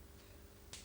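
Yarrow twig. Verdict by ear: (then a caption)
Dry. A dried yarrow twig, a medicinal herb, is snapped, giving one short, dry crunch near the end over a low background hum. The clean crunch shows the herb has dried properly.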